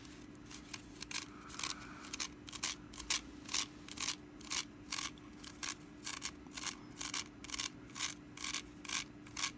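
Long nails scratch along the ribbed woven side strands of a small, hollow, orange woven wicker pumpkin held sideways in the hand. About 26 short, bright, dry rasping strokes come in a loose rhythm over a faint steady low hum.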